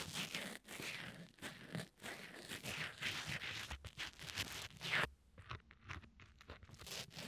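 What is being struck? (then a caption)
Foam microphone windscreen scratched with a wooden pencil tip. A sharpened red wooden pencil tip, held in fingertips, scratches and pokes at the small black foam windscreen of a tiny lavalier mic, soft and porous over a hollow capsule. It makes close, bright crunchy scratching and crinkling for about five seconds, then drops to quieter, sparser pokes and scrapes.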